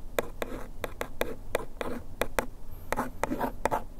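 A bamboo ear pick traces and scratches across the lower printed text on the front of a small printed paperboard bandage box held in hand. It makes a steady series of short, dry scraping ticks with a papery mid-range rasp. Each stroke stops almost at once, with no ring.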